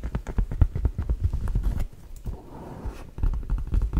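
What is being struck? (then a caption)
Leather ankle boot. A hollow, empty black leather ankle boot is held sideways near the mic while long nails tap and knock on its leather upper and heel. Quick runs of dull, deep knocks die away instantly. A quieter, grainy stretch falls in the middle before the brisk tapping returns.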